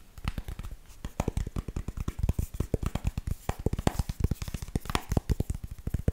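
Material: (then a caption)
Plastic. Long nails tap rapidly on the back of a Kindle e-reader in a black cover, held up flat. The taps are short, dull, low thuds with a faint clicky edge and no ring, coming in a quick, steady stream of dozens of hits.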